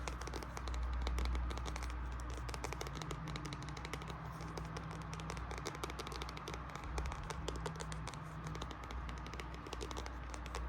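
An illustrated hardcover edition of Alice in Wonderland with red page edges is tapped with quick, uneven strikes. The short, crisp taps crackle over a steady low hum, with no speech.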